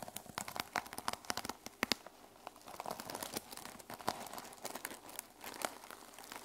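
Fingernails scratch across the teal sequin-covered fabric cover of a small journal lying flat on a table. The result is a quiet, dense stream of bright, crinkly clicks and rasps with almost no low end, with sharper flicks standing out now and then as the sequins shift.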